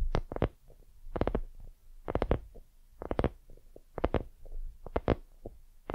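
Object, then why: Soft hollow silicone lamp. Long fingernails of both hands scratch and tap a white, soft, hollow silicone dumpling lamp. Quick clusters of sharp, bright nail clicks sit over a dull, low, hollow thump, separated by quieter soft scratching. Each click dies away almost instantly.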